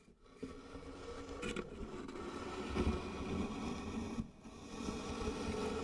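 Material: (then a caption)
Wood. Fingertips and long nails scratch and rub the engraved lid of a medium, light-colored wooden box that is likely hollow. The result is a steady, rough scraping texture with a low, hollow rumble underneath. It brightens briefly in places and dips for a moment before the rubbing resumes.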